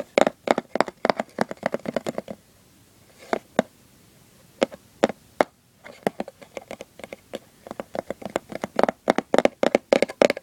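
Fingertips and short nails tap and scratch the printed surface of a small, hollow lid from a Christmas-printed cardboard gift box. Quick, dry, hollow taps with a mid-range body come in a dense flurry, thin out to a few scattered single taps in a quiet middle stretch, then build back into rapid, uneven tapping and scratching through to the end.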